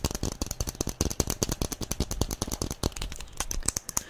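Long nails tap quickly on a small yellow plastic SpongeBob figurine held in both hands. The result is a fast, uneven stream of sharp, dry clicks with a low knock under each one and bright ticks on top. Every tap dies away almost instantly.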